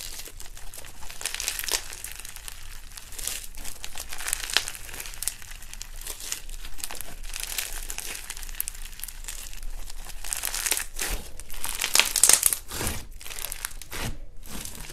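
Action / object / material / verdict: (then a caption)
scrape / soft fluffy slime pressed by hand / slime / none. Bare hands squeeze, knead and press a large mound of soft white fluffy slime against a white table. It makes a continuous stream of crinkly, crackling pops that are bright and dense, with sharper bursts near the end.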